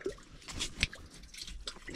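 A hook probes a mud crab burrow in the mangrove mud of a creek bank, making soft, wet squishing and dripping sounds with a sharper squelch partway through. The burrow sounds empty and turns out to be empty, likely because someone has already been there.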